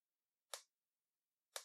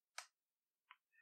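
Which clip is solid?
The second.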